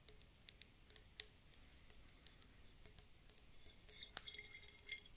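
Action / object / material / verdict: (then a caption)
tap / round glass bottle with water and glitter / glass / none. Long dark fingernails tap on a round, clear glass bulb bottle held in the hands and partly filled with water and glitter. The result is a quiet, irregular series of sharp, bright clicks that stop dead, with a faint low ring under some taps. Near the end the taps bunch into a denser, scratchy flurry.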